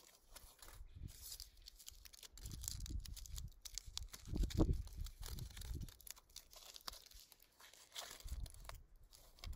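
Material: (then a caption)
Aluminium foil. A small, thin sheet of aluminium foil, crumpled into a hollow shape, is held in the fingertips and crinkled and squeezed by hand outdoors over grass, with more foil pieces lying untouched on the grass nearby. Dense, irregular crinkling and crunching crackles come in bursts over soft low thumps. The squeezing swells to its loudest just before the midpoint, then eases into quieter rustling.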